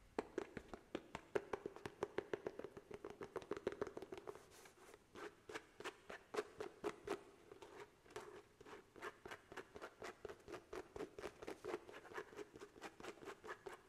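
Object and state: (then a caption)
Paperback book page edges. Fingernails tap along the side edges of the pages and the cover of a paperback book held flat above the microphone, the book a solid paper block. A rapid, steady series of short, dry taps with a papery click and a faint hollow tone around 400 Hz, each dying away almost instantly.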